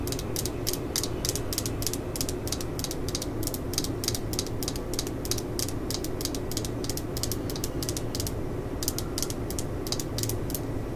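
A solid black and yellow plastic screwdriver handle is held in the hands and tapped and scratched with long acrylic nails. Rapid, crisp clicking taps repeat steadily over a low, continuous rumble, with a brief scratchy stretch near the end.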